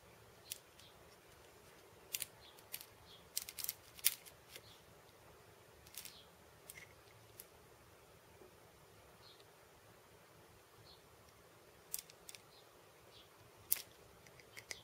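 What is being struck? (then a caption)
Wooden cabasa end disc with metal center bolt. Purple-painted nails tap the flat, round wooden end disc of a cabasa and its metal center bolt. About seventeen quiet, sharp, bright clicks come at uneven intervals, each dying away almost at once over a faint steady hiss.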